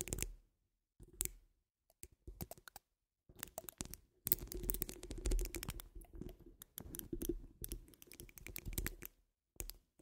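Long fingernail tips of both hands tap and scratch a wire-mesh metal microphone dome. Bursts of quick clicks and rasping scrapes come and go between short silences, each carrying a heavy, close low-end thump under bright, brittle crackle. The busiest scratching stretch lands in the middle of the clip.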